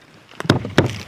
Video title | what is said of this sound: 12 Most Chilling Sasquatch Evidence Ever Captured - Raw Wilderness Encounters | It's hollow. It's like a drum.